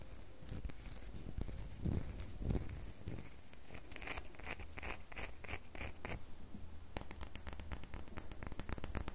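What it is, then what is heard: Glycerin soap bar. Long nails scratch and tap the surface and edges of a handheld, unwrapped solid red glittery square bar of glycerin soap. Dry, raspy scratching strokes mix with quick, bright clicking taps over a soft low rumble. The taps grow sharper and denser toward the end.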